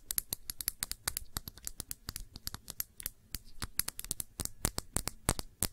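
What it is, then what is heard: Glass perfume bottle. Long nails tap around the shoulder and cap of a small glass perfume bottle filled with blue liquid and topped with a silver neck. A quick, uneven run of many sharp, bright clicks follows, each dying away almost instantly, with a faint low hum underneath.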